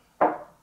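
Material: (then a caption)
MDF. A fist knocks once on the side of a braced and treated MDF speaker cabinet. It gives a single short, solid thud that dies away quickly without ringing. The cabinet is well damped, which is the result the bracing and treatment aim for.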